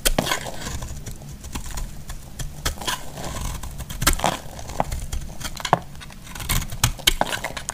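A solid orange bar of soap, held in the hand, is scraped and cut with a metal blade, shedding crumbly shavings. Dense, crackly scraping and crumbling runs throughout, punctuated by many short, bright clicks and snaps, over a low rumble.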